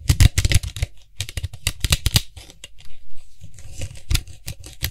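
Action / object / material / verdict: tap / hollow plastic cap of an aerosol spray can / plastic / none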